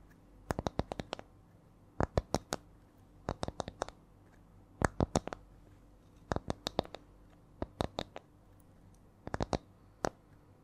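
A small, solid, flat round wooden disc or coaster with visible rings is held in one hand near the mic and tapped and scratched with long nails. Sharp, dry clicks come in short bursts with a slow, shifting rhythm, with quiet gaps between groups against a faint low hum.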